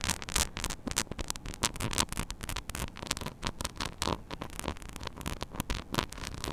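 Long nails scratch and tap rapidly across a small, hollow metal mesh mini microphone grille, making dense, crackly patter with sharp clicks. The grainy scraping spans low rumble to bright hiss, and each tap stops dead with no ring.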